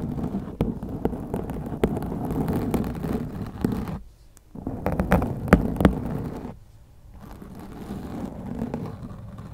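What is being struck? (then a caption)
Foam microphone windscreen. Long glittery acrylic nails scratch and rake across a black foam windscreen on a white microphone. The result is a dense, low, rumbling scratch with sharp crackling ticks, briefly dropping away around the four-second mark and again near the end.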